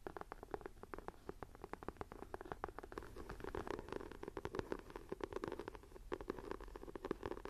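Long nails scratch the textured cover of a closed, dark green leather-look binder journal lying on a table. The result is a quiet, steady run of rapid, dry scraping strokes, centred in the low-mids, with almost no deep or bright content and no ring after each stroke.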